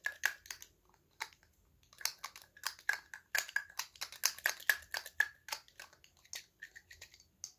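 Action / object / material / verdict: tap / small glass perfume bottle with cap / glass / none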